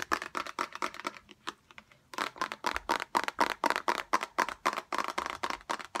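A small transparent orange plastic bottle with liquid inside and a green-yellow cap is held in the hands and tapped quickly with long acrylic nails. About thirty-three crisp, hollow clicks ring briefly around 930 Hz, with bright edges. A quicker burst slows to a few sparse taps near the two-second mark, then resumes at a steady fast pace.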